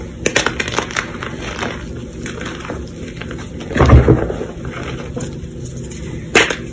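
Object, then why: Reformed chalk chunks and powder. Chalk-covered fingertips squeeze, crush and rub damp, reformed chunks of pink chalk in a tray bed of loose pink chalk powder, grinding them back into powder. Soft, dull crumbling crunches and gritty rubbing run throughout, with a heavier, low crush near the middle and another sharp crunch near the end.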